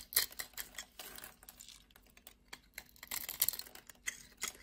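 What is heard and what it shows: A blade scrapes and cuts across the scored surface of a solid dark black soap bar. The result is a quiet, uneven run of short, crisp, high-pitched ticks and scratchy crackles that fade almost instantly, with denser bursts near the start and toward the end.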